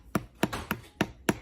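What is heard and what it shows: A baked no-knead bread loaf is tapped five times to check whether it sounds hollow, each tap a short, dull, hollow knock with a low thump and almost no ring. The loaf is done, a little too done, because the oven timer was forgotten; it was meant to come out early to show how an underdone loaf sounds.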